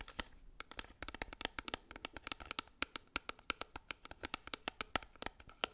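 Long acrylic nails tap and scratch a hand-held Maybelline Fit Me pressed powder compact, a small, flat, square black plastic case with a label. About 36 quick, sharp, bright clicks sound in an uneven, rapid rhythm, each dying away almost instantly, with a faint scratchy rustle between them.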